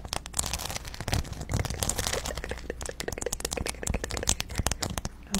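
Long blue acrylic nails scratch and tap across a round, flat, thin cork board covered with glossy, colorful plastic letter and number stickers. The result is a dense stream of crisp, crackling clicks and scratchy rustles with bright highs and a soft low rumble underneath.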